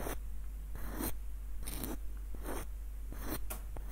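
Short fingernails scratch and trace along a small, hollow, light-wood screw nutcracker with a dark knob and ribbed screw threads. Bursts of dry, bright, rasping scrapes come and go over a steady low hum, with quiet gaps between strokes.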